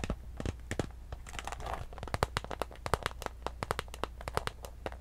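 A small, clear, iridescent holographic PVC handbag with a gold chain, hollow and empty, has its surface scratched and crinkled close up with long pink acrylic nails. Dense, quick crackling taps and crinkles sound over a low steady hum, bright and short with no ring.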